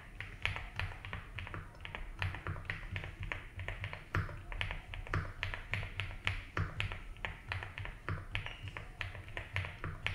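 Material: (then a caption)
Plastic. Fingertips tap slowly and steadily on the keys of a 75% mechanical keyboard with ABS keycaps in a light blue plastic case. Each keystroke gives a short, crisp clack with a bright upper edge. The clacks sit over a steady low rumble and a faint, constant high tone.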